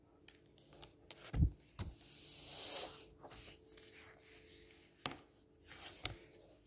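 Fingertips rub across a blank white glossy page of a large softcover brochure with a yellow-green cover lying flat on a table, then across the cover itself. Scattered soft ticks and light taps give way to a longer, bright swishing rub of skin on slick paper that swells and fades. Brief dull knocks and quieter brushing strokes follow.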